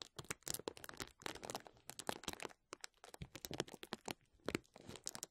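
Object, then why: Plastic bubble wrap sheet. A clear plastic bubble wrap sheet lies flat while the fingertips and nails of both hands scratch and rub across the bubbles. Dense, bright crinkling and crackling bursts follow one another rapidly for about five seconds, with short quiet gaps and no bubbles audibly popping.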